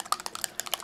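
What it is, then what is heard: Dropper bottle with steel mixing ball rattling inside. A filled plastic DIY paint dropper bottle is shaken, and the steel agitator ball inside rattles in a quick series of bright, sharp clicks with almost no ring. The rattle shows the ball is in the bottle, where it helps mix the paint.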